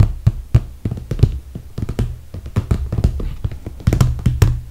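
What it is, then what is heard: Clear PVC plastic toiletry bag. Long red fingernails tap and scratch along the top edge of a clear, soft PVC toiletry bag filled with cosmetics. The result is a rapid, uneven run of short, dull plastic taps with a low, thuddy body and almost no ring, mixed with faint crinkly scratching between them.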